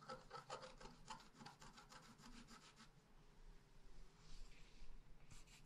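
A wooden stylus scratches a thin, black-coated scratch-art paper sheet lying flat, first at the bottom of the picture and then in the tree crown. Quick, dry scratching strokes repeat rapidly for about three seconds. They give way to softer, sparser rasping with a few brighter bursts near the end.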